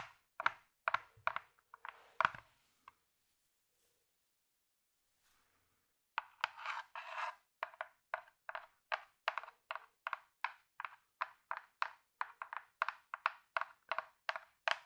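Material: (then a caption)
Cardboard. A small, hollow teal cardboard gift box, apparently closed and held in both hands, is scratched and tapped with long fingernails. A few clustered scratchy bursts give way to about three seconds of near silence, then a steady run of quick, dry taps. The taps are crisp and papery, centered in the mid-range with no low end, and die away almost instantly.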